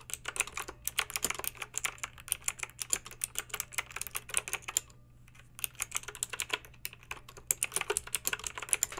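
Long pink acrylic nails type quickly on a plastic mechanical keyboard with backlit round plastic keycaps. A steady run of sharp, bright clicks and clacks is heard over a faint low hum, pausing briefly just after the middle before the fast typing resumes.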